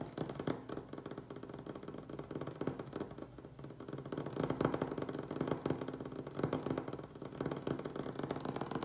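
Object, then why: Wooden tabletop. Fingernails and fingertips of both hands tap and scratch fast, directly on a solid light wooden tabletop. The result is a dense, continuous patter of short, dry clicks with little ring, centred in the low-mids around 260 Hz with almost no bright content. The level swells slightly in the middle and toward the end.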